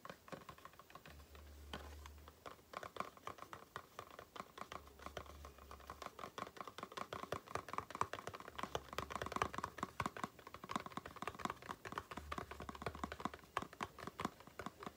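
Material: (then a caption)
Cardboard. Long nails tap quickly and continuously on a small, hollow, printed cardboard Aloe face-cream carton held up in the air, giving dense, dry clicks with a hollow tone around 1.2 kHz and almost no ring. A faint low hum comes and goes in short stretches underneath.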